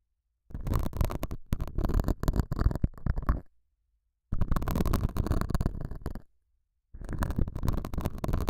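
A metal dental scaler with a white handle, held by a hand with long nails, scratches and picks at a small square beige felt pad mounted on a clip-on microphone. The result is three bursts of dense, muffled scratching with a deep, rumbling low-end, separated by short silences.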